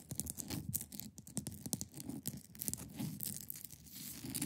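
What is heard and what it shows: Long painted nails scratch and tap the top and sides of a hand-sized solid block of clear ice resting on a fabric surface. Quick, dry taps land as short low thuds, mixed with bright, raspy scratches that come in irregular bursts. The sound stays close and soft, with almost no ring after each touch.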